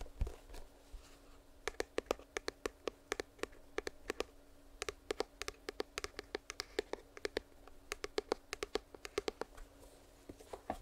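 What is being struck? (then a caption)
Small cardboard box. Long nails scratch and then tap rapidly on a small, closed printed cardboard retail box for earbuds held in the hand close to the mic. There are soft rustling scratches at first, then a dense run of about 44 short, dry, crisp taps in quick bursts with almost no ring. A faint steady hum runs underneath.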